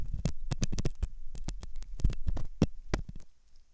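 A metal dental pick scrapes inside the hollow ear canal of a white, soft silicone ear on a binaural microphone. It makes a rapid series of close, muffled scratching and crackling bursts, heavy in low rumble with brief bright edges. The scraping grows quieter and sparser toward the end.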